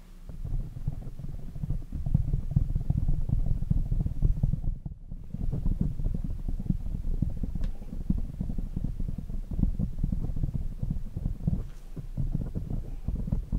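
Fingertips with short nails tap and scratch the black foam windscreen over the head of a large desk microphone. The sound is a dense, muffled, low-pitched rumble of soft thuds and scrapes, with almost nothing bright. It runs steadily for the whole clip, with a brief dip near the middle.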